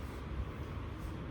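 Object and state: Nothing is struck.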